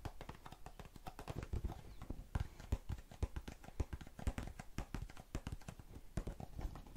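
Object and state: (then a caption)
Plastic cotton swab tub. A small blue plastic tub full of cotton swabs is tapped rapidly on its base and sides with long nails. The result is a quick, uneven stream of dull, low clicking taps, each stopping almost instantly, with little brightness.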